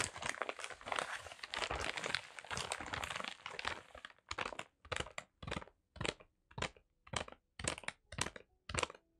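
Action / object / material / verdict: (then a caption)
scrape / kraft paper wrapped parcel / kraft paper / none. A kraft paper wrapped parcel is held upright while fingertips tap and scratch its paper surface. For the first four seconds a dense, continuous bright crinkling and scratching is heard, followed by separate dry taps and rustles spaced roughly half a second apart.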